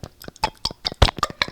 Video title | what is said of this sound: Good Good's Keto Jams (Strawberry, Blueberry, Apricot) and Keto Nutella Review - Tasty or Meh? | what I can do is shake it up. Listen. So it's pretty liquidy.